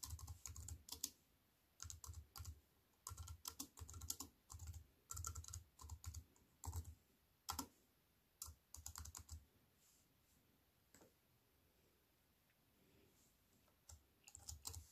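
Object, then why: Computer keyboard with plastic keys and aluminium frame. Fingertips with long white-painted nails type on a slim wireless keyboard with a silver aluminium frame and black plastic chiclet keys, resting on a wooden table. Bursts of quick, crisp key clicks with a deep thud beneath each cluster are separated by quiet pauses, including a long lull near the end before the typing resumes.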